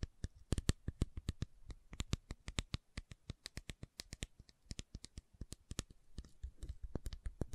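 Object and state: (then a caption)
Plastic supplement bottle. A white plastic fish oil supplement bottle with a screw cap and paper label, capsules inside, is held in both hands and tapped and scratched with long nails. Dense runs of short, dry clicking taps are heard with soft scratching between them, all quiet and close with no ring after each hit.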